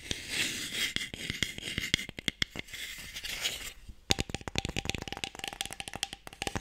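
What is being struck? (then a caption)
Light wooden box with sticks inside. Fingertips and nails tap quickly on a closed, light wooden Mikado box that is hollow with sticks inside. A bright, scratchy rustle with scattered taps comes first, then a steady run of crisp, rapid, bright clicks with a faint hollow ring.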